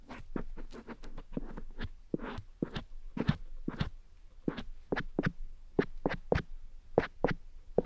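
A cotton swab rubs and scratches inside the grey silicone ear of a black dummy head microphone. The result is a close, dry series of short scratchy strokes with a soft low rumble and quick decay, irregularly spaced over a quiet background.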